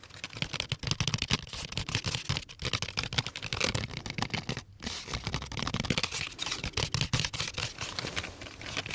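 Fingertips tap rapidly and continuously on a small, hollow, partly full brown cardboard crayon box with a window showing four crayons inside. The taps are dry and clicky with a bright edge and a soft low thump, each dying away almost instantly. A brief pause falls just before the five-second mark, then the tapping resumes.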